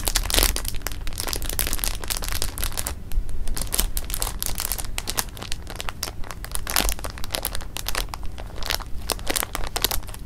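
Fingers rub a clear plastic bag of jelly beans against fabric, then lift it and roll it between the hands, crinkling the film. The result is a continuous run of dense, bright crackles and rustles over a steady low hum, with brief louder crinkles standing out.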